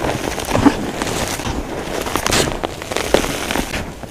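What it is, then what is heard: Crushed chalk powder crumbling. Hands squeeze, scoop and crumble handfuls of crushed blue and pink dyed gym chalk powder and small chunks in a container. The result is a dense, continuous crunching and crackling texture with sharp brief snaps scattered throughout.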